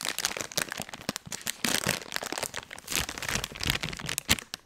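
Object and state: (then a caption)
Soft plastic wet wipes pack. A blue soft plastic wet wipes pack is held up close to the mic and crinkled and squeezed by hands. Dense, bright crinkling and crackling bursts come in quick, uneven waves, with little low end, for about five seconds.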